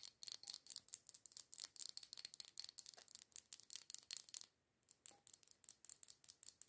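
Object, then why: Glass jar candle with metal screw lid. Long acrylic nails tap and scratch the black metal screw lid rim and the glass of a small glass jar candle filled with solid red wax. A quick, steady run of dry, bright clicks and scrapes is heard, each dying away almost at once, with a short silent pause just past the midpoint before the tapping resumes.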